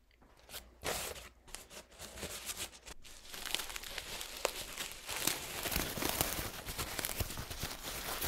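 A crumpled, purple paint-stained paper towel is squeezed and unfolded in both hands, making crunchy, crisp crinkling and tearing-like rustles. The sound starts sparse and quiet, with a few separate crackles. From about three seconds on it builds into a denser, louder stream of bright crinkles.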